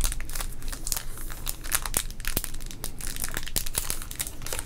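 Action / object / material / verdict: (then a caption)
scrape / sealed plastic trading card pack / plastic / none. A small sealed teal baseball card pack, full of cards, is held in both hands by the fingertips, flipped front to back, and squeezed so its plastic wrapper crinkles. Dense, continuous crinkling carries sharp, bright crackles over a steady low rumble.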